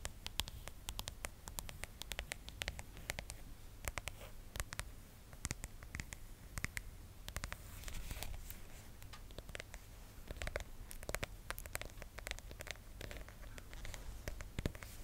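Long nails tap and scratch the back of a phone in a pink, sticker-covered plastic case held in both hands. Quick, sharp clicks come in a dense, uneven patter, mixed with soft scratching strokes and bright ticks, over a steady low hum that runs through the whole clip.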